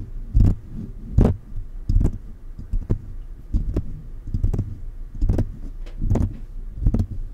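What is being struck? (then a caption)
Metal condenser microphone with mesh grille. Fingertips of both hands tap the mesh grille and body of a silver metal USB condenser microphone. The result is a loose, uneven run of dull, deep thumps with almost no high end, each dying away quickly.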